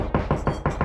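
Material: Drywall.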